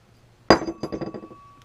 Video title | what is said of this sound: Make Money Scrapping a Flusher From a Urinal | that's one good way you know it's brass because they make bells